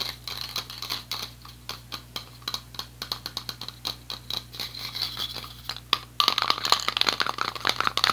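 A yellow metal aerosol spray paint can is tapped with fingertips and nails along its side, producing a rapid run of light, bright clicks over a faint steady low hum. After about six seconds the tapping turns denser and louder, and a ringing metallic tone sits around 1.2 kHz.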